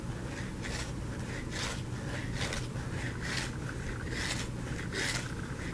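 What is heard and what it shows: A solid white soap bar, held in the hand near the microphone, is scratched and scraped with painted nails. Bright, dry scraping strokes repeat at a steady rhythm over a constant low rumble.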